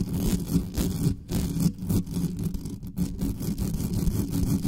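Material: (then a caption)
Metal mesh. Long nails on both hands scratch and rub fast across the bare metal mesh grille of a black condenser microphone. The result is a dense, rumbling scraping texture concentrated in the low range around 180 Hz, with rapid, irregular strokes that swell and dip in loudness.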